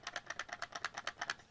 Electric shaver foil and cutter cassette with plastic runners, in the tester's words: if you pick the item up and shake it you can hear the plastic runners hitting each side